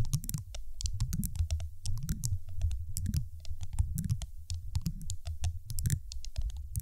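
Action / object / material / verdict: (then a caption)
tap / large solid glass marble tapped with fingernails / glass / none. A large, solid, dark teal glass marble sitting on a microphone is tapped rapidly with the long acrylic nails of both hands. The result is a dense stream of short, bright clicks over a heavy, boomy low thump that pulses in waves throughout.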